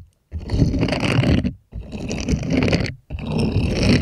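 Small plastic toy hands rub and scratch across the bristled palm of an empty purple silicone cleaning glove with bristle nubs, held upright. Three bursts of dense, low scraping with a faint bright edge are separated by short pauses.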